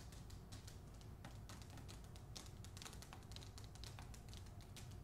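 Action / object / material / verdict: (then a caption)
tap / hardcover book with paper dust jacket / paper / none. A hardcover book with a glossy paper dust jacket is held up while long nails tap and scratch rapidly across its cover and spine. The clip is quiet, with a dense run of crisp, bright clicks and scrapes over a steady low hum.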